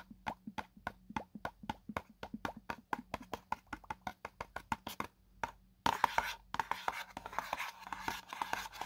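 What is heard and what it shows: A small, hollow, white printed paperboard box for a selfie stick tripod is held in one hand while fingertips and short nails scratch and rub across its printed face. For about five seconds there is a rapid, steady series of short, dry scratching taps with a papery midrange tone. After a brief near-silent pause, it becomes a louder, continuous, bright rubbing and scraping.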